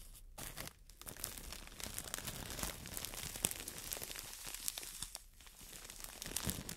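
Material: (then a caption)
Plastic film. A green solid floral foam brick in clear plastic wrap is scratched and squeezed with long nails. The result is a continuous bright crinkling and scratching of the plastic, with brief quieter pauses and sharp crackles throughout.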